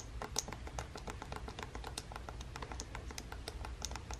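A fingertip with long painted nails repeatedly presses and taps the buttons of a red Joy-Con controller on a small, hollow plastic Nintendo Switch handheld game console lying on a table. A quick, steady run of soft, dry clicks with bright tips dies away almost instantly over a low, constant hum.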